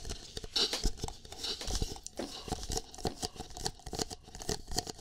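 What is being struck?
Plastic cup.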